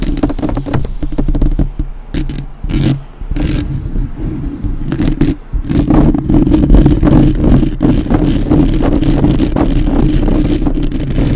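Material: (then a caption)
Metal mesh. Long nails from both hands scratch and tap rapidly on the metal mesh grille of a black uncovered microphone. The close, boomy sound is a dense, irregular clatter of taps and scrapes with heavy low-end thumps and a steady low tonal hum beneath. There are brief quieter dips before it settles into a continuous loud scratching.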